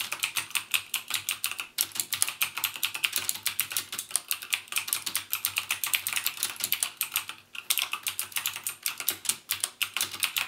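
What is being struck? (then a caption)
Plastic mechanical keyboard with clicky switches. Fingertips type steadily on a full-size backlit mechanical keyboard with plastic keycaps and Cherry MX Blue clicky switches. The result is a fast, continuous run of sharp, bright clicks with almost no low end, with brief pauses near 1.8 and 7.5 seconds.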